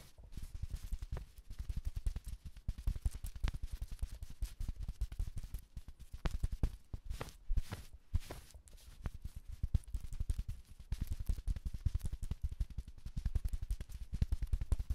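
A navy sherpa fleece jacket with a felt letter patch, worn by a person, is scratched and tapped with AA batteries worn as long nails. Rapid, soft, dull taps and scrapes run continuously, heavy in low thuds with very little bright content, each hit dying away almost instantly.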